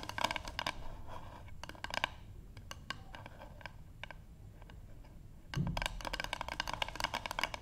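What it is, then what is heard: Wooden board tapped with fingernails. Long pink nail tips from both hands tap a light, solid wooden paddle board up close. Quick, dry clicking taps with a hollow knock around 1 kHz and almost no ring come in bursts at the start and near two seconds, then thin out to scattered ticks. A louder, denser flurry with a low thump follows from about five and a half seconds.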